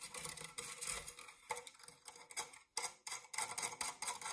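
Fingernails scratch the ribbed side wall and base of an empty, dark metal springform cake pan. The sound is a series of bright, raspy scraping bursts with short gaps between them, carrying almost no low end.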